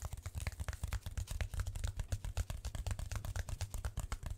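Long nails and fingertips scratch and tap a large brown corrugated cardboard sheet with circular holes. A fast, uneven stream of dry, short taps has a dull low thump underneath and crisp scratchy clicks on top, each dying away almost at once.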